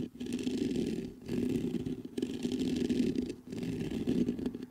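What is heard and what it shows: Fingertips scratch the grille of a black metal USB condenser microphone, then tap its metal body. The result is dense, raspy scratching in several long bursts separated by brief pauses, with a strong low-mid body around 260 Hz and a fainter bright hiss above it.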